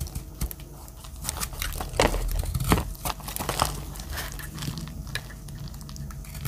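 A metal utility-knife blade scrapes and cuts dry flakes off a green solid soap bar held in a hand with long black nails. It makes a steady run of dry, crinkly scraping and crunching with sharper cuts standing out, over a low background hum.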